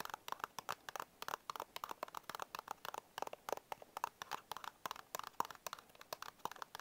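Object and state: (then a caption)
Cardboard biscuit box. Short fingernails scratch and tap the front and edge of a small printed paperboard Bisco biscuit box held upright. About 34 quick, dry taps and crinkly scratches follow one another, each dying away almost instantly, with a papery midrange tone, a bright edge and almost no low end.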